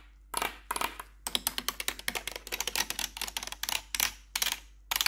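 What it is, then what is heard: Plastic computer keyboard tapped with metal nails. Four metal claw nails tap rapidly across the keycaps of a black plastic backlit RGB computer keyboard. Bright, sharp clicking taps come in quick bursts separated by short pauses, each tap dying away almost instantly.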